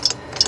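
A metal float from a Tecumseh lawnmower carburetor is shaken to check whether gas or water has leaked inside, as corroded floats can fill with liquid. Two quick, bright rattling clicks are heard, each a small pair of taps with no sloshing. The float sounds dry, with no liquid inside.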